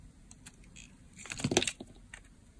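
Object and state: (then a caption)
Dry bar soap being shaved. A utility blade shaves slices off a hand-held, oval, blue marbled bar of dry solid soap. Faint scratchy scrapes build into a dense, crunchy cluster of bright crackles around the middle of the clip, then trail off into sparse small ticks.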